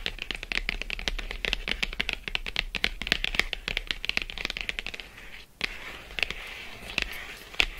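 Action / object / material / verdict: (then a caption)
tap / thin cardboard box / cardboard / none. Long acrylic nails scratch and tap quickly across the front of a closed, thin, flat Lindt Excellence 85% cardboard chocolate box lying on faux fur. The result is a dense run of dry, bright clicks and scratchy rasps. A brief hush near the five-second mark comes before the tapping resumes more sparsely.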